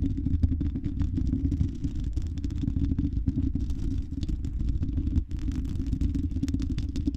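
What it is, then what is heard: Metal microphone grille. Long red acrylic nails on both hands scratch the silver mesh metal grille of a condenser microphone's hollow dome. The result is a dense, continuous low rumble made of rapid scratchy crackles, with a brief dip in the sound just past the five-second mark.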